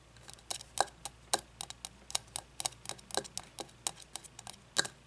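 Long fingernails tap on the glass of an open frosted glass candle jar with wax inside, held on its side. About two dozen sharp, bright clicks come in an irregular rhythm, each dying away almost instantly with a faint glassy tone.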